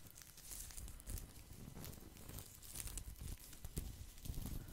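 Fingertips and nails scratch and rub the woven surface of a thin, round, flat woven straw or rattan placemat held by the microphone. The result is a steady, dry crinkling and scraping texture with a low rumbling body and bright, crackly bursts where the strokes catch the weave.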